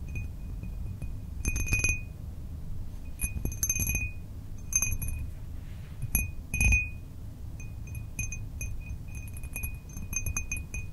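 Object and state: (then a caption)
Cut glass tumbler. A small, empty, hollow cut-glass drinking tumbler with a diamond-cut pattern is tapped and clinked by fingertips and nails. Clusters of short, bright, bell-like pings ring out with high shimmering overtones. Each ring decays quickly over a steady low rumble.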